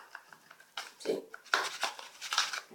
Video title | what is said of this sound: The Best Torn and Restored Card Trick Ever - Revealed Tutorial | So you can hear that there's something inside there.